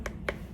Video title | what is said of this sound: 864. Basic Trimming for Beginners with Hsin-Chuen Lin~ Class Demo at Palo Alto Art Center | you can hear by tapping on it. Hear the sound. The thinner the pitch sounds higher.